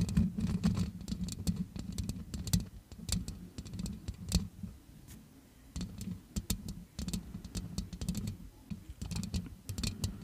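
Long red acrylic nails scratch and tap the round metal mesh grille of a grey-blue Yeti-style USB microphone with both hands throughout. The result is a dense, boomy low-frequency rustling with a steady hum-like tone near 170 Hz, broken by many sharp, bright clicks that rise and fall in busy bursts.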